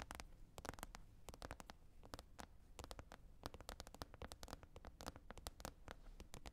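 Long red nails tap and scratch across the surface of a green plastic container lid. Quick, dry clicks come in irregular bursts, each crisp and bright and dying away almost at once, with a soft scratchy rasp and a low rumble underneath. The whole clip stays quiet and close.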